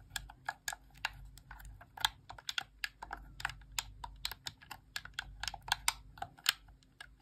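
A hand-sized, hollow white plastic Xbox Core wireless controller is held in both hands while long press-on nails tap and click on its plastic buttons and face. A rapid, uneven stream of short, dry, bright clicks and taps sounds with almost no ring, over a faint low hum.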